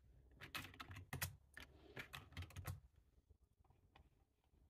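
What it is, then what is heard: Plastic computer keyboard being typed on. Two hands type with short-nailed fingertips on a black, low-profile, hollow-bodied plastic computer keyboard resting on a table. Irregular bursts of key taps give short, hollow low thuds with bright clicky tops, densest and loudest in the first three seconds before thinning to softer, scattered taps.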